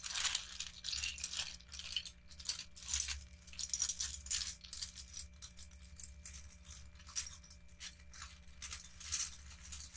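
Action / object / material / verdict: scrape / pile of small plastic toy bricks / plastic / none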